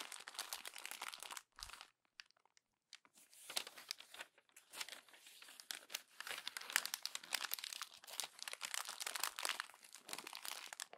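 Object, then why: Glossy paper magazine pages. A hand presses on the crumpled pages of a glossy paper magazine and turns a page, giving dense, bright crinkling and crunching with sharp, brittle rustles. A short silent gap comes near two to three seconds, then the crumpling continues steadily to the end.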